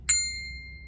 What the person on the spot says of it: 이런 소리가 날 정도로 얇아요